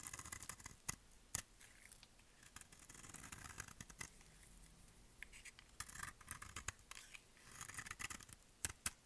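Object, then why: Bar of soap cut with a blade. A solid, bright-green rectangular bar of dry soap is held in one hand and carved with a utility-knife blade. Repeated cutting strokes make crisp, bright scraping and crackling sounds, broken by sharp clicks as the blade bites. Layered flakes peel off the bar.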